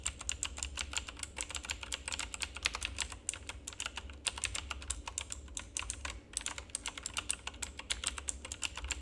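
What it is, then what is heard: Plastic mechanical keyboard being typed on. Fingertips of both hands rapidly press and tap the keycaps of a full-size, backlit plastic RGB mechanical keyboard with a hollow housing. The result is a fast, continuous stream of bright, short clicks and clacks that decay almost instantly, over a steady low hum throughout.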